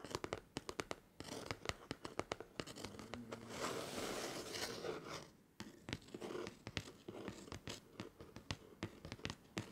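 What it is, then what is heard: Cardboard book cover. Fingertips and short nails of both hands scratch repeatedly across the flat, solid, plain brown cardboard back cover of a closed book lying face down on a wooden table. Quick, dry, bright scratches tick out in rapid bursts, then merge into a steady, hissing scrape in the middle before a brief pause. The sharp, crisp strokes then resume, each fading almost instantly.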